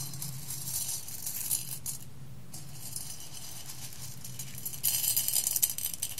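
Fingertips with long red nails stir and pick at roasted coffee beans in a clear glass bowl, making soft, bright rattling clicks and a dry crunchy patter over a low steady hum. The clicking briefly drops away, then swells into a louder, busier burst of clinking near the end.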